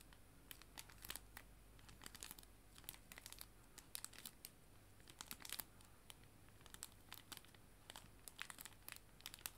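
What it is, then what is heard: Clear plastic cello bag crinkled. A clear plastic cello bag, a sleeve holding paper art prints, is crinkled with fingertips and nails. Quiet, bright, crisp crackles and clicks come in quick clusters over a low steady hum, each snapping off at once.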